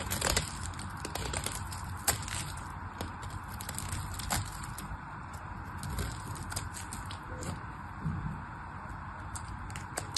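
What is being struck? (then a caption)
Bar of soap cut with a knife. A black knife blade carves into a solid pink bar of soap held by a hand with long painted nails, cutting off crumbly chunks. Quiet, dry crackling and scraping continues throughout, with soft crunching clicks and a low, rumbling body beneath brighter, hissy edges.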